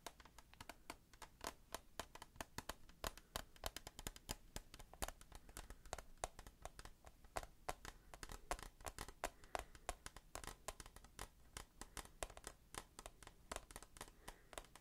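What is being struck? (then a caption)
Plastic tissue box. A hand-held, rectangular, hollow clear plastic tissue box full of white tissues is tapped with fingertips and nails along its sides. The result is a rapid, continuous run of short, dry, bright clicks and taps that die away almost instantly, with a faint crinkly scratch between them.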